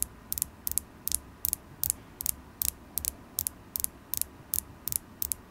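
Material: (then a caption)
Carnelian. Long acrylic nails tap a solid polished carnelian crystal point held in the fingers, making quick, bright clicking taps, often in close pairs, at a steady pace. Each tap is sharp and dies away instantly, with only a faint low rumble between them.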